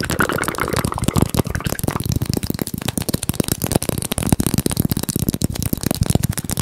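A small teal hollow plastic egg shaker, likely with beads inside, is held in the hands, tapped rapidly with the fingertips and shaken close to the mic. The result is a quick, continuous stream of dull, low-heavy taps with very short decay, mixed with a soft rattle.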